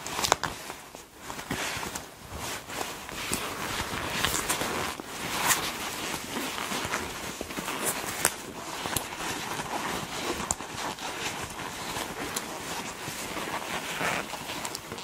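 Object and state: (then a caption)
Leather jacket being squeezed. A black leather (likely faux) jacket sleeve, a flexible hollow garment, is held in both hands while long black nails and fingers squeeze and crumple the leather. The result is a steady stream of soft creaks and bright, crisp crackles with scattered sharper snaps, light on low end and with no talking.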